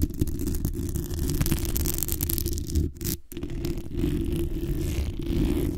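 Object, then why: Metal mesh microphone grille. Long nails and fingertips tap and scratch the hollow metal mesh grille and lower body of a black condenser microphone. The result is a dense, steady run of close, bass-heavy scratching and tapping, with a brief quieter dip around the three-second mark.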